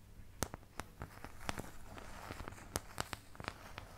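Long painted nails scratch and tap the surface of a medium oval white plastic paint palette with round and triangular wells, thin and hollow-backed, empty and held upright in front of the mic. Sharp, bright clicks stand out above a soft, continuous scratching hiss. Each tap dies away almost instantly with no ring.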